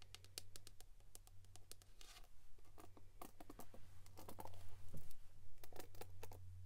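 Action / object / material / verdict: scrape / plastic paddle hairbrush / plastic / none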